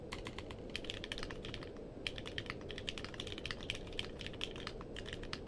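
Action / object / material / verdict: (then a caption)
tap / mechanical keyboard with plastic keycaps / plastic / none. Fingertips type quickly on a compact mechanical keyboard with a purple case and plastic keycaps. The result is a steady stream of short, bright clacks with no ring, over a constant low rumble.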